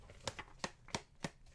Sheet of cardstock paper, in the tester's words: that's what it sounds like when I flick it which is kind of how I test to see how thick something is